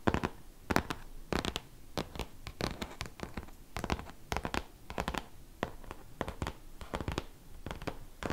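Fingertips and short nails of both hands scratch across the glossy cover of a large, solid, closed hardcover art book. The result is a run of quick, dry, bright scratching strokes in irregular bursts, with almost no ring after each stroke and a faint low rumble beneath.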